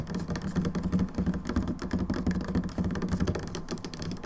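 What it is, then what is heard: Plastic hand soap bottle. Both hands tap rapidly with long nails on the sides of an upright plastic hand wash bottle standing on a table. The result is a dense, continuous patter of short, hollow clicks and thuds with a low tonal hum around 190 Hz. Each tap dies almost instantly, with very little brightness.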